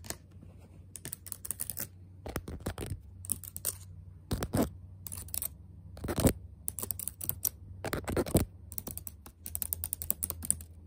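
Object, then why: Plastic laptop keyboard keys. Fingertips type and tap on the left-side black plastic keys of a backlit laptop keyboard set in a metal body. Irregular bursts of soft, bright key clicks alternate with brief pauses over a steady low hum, with a few louder taps standing out.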